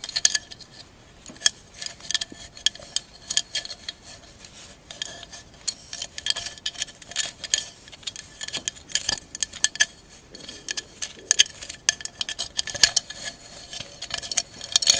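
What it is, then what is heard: Mosaic glass candle holder. A tall, hollow, empty candle holder covered in glass mosaic tiles is held sideways and tapped and scratched with long acrylic nails. The result is a dense run of quick, bright clicks and light glassy ticks, with almost no low end and no ringing after each hit.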